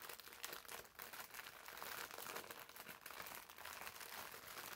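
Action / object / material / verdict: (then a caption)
scrape / foam bath sponge in clear plastic film / plastic film / none. A green foam bath sponge wrapped in clear plastic film is squeezed and scratched with fingertips and short nails. The result is a steady, fairly quiet stream of bright crinkling and scratchy rustles with almost no low end.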